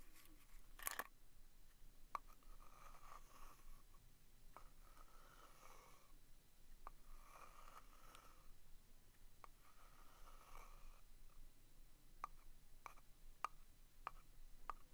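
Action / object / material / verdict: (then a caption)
scrape / small round cardboard box with a paper label / cardboard / none. A small, hollow, round vintage cardboard box of Bear Brand thumbtacks is held in the hand while a pointed wooden stick traces and scratches the paper label on its lid. Soft, airy scraping strokes come in slow waves, broken by sharp, dry ticks with a hollow mid-range knock. The sound stays quiet and close throughout.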